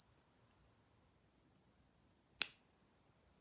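A real .999 silver round from a home stack is pinged once, giving a bright, sharp strike at about 2.4 s that rings on in high, pure tones. The ring fades over about a second, following the tail of an earlier ring that dies out in the first second. Its tone sounds like the same family as a fake Morgan that tested as 90% silver.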